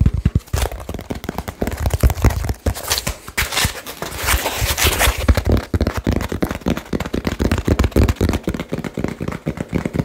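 Fingertips tap very fast on a small, hollow cardboard shipping box with a label and blue tape, producing a dense stream of short, low, thuddy knocks. In the middle stretch the taps blend with brighter crinkling and scratching before the quick, hollow drumming continues.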